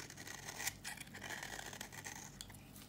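A solid, dry red bar of soap held in the hand is shaved with a flat blade, and brittle flakes come off. A run of quick, dry, bright scraping and crunching strokes is heard, with a sharper peak partway through over a faint low hum.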